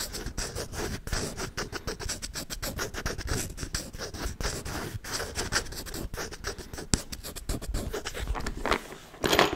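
A hollow wooden folding chess board held close to the mic is scratched and tapped with fingernails and fingertips. The result is a dense, steady stream of dry scratching and quick taps, with low knocks under bright, crackly rasps, and a sharper, louder flurry right at the end.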